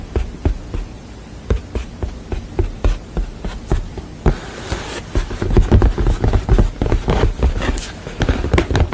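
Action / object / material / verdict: tap / painted wooden panel / painted wood / none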